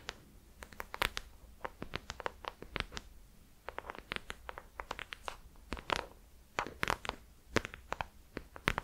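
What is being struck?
Hardcover notebook with embossed cover.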